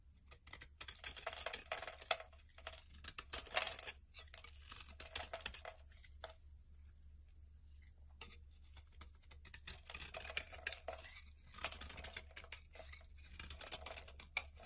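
A snap-off utility knife blade scrapes and shaves the ridged surface of a solid, hand-sized, rectangular red translucent glycerin soap bar held in the palm, sending pink curls falling off. Bursts of dry, bright, crackly scraping come in quick strokes, separated by quieter pauses, over a steady low hum.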